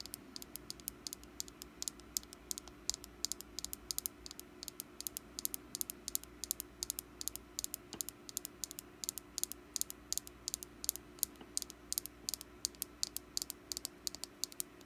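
Long black nails tap rapidly on the ribbed surface of a small, solid orange wax pumpkin candle held in the hand. The result is dozens of crisp, bright clicks over almost fifteen seconds, each dying out instantly, like fast typing, over a faint steady low hum.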